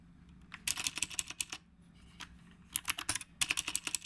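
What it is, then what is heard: Mechanical keyboard being typed on. Both hands type with their fingertips on a retro typewriter-style mechanical keyboard with round plastic keycaps. Two bursts of quick, bright, sharp key clicks are separated by a short quiet pause near the middle of the clip. Each click is crisp and dies away almost instantly.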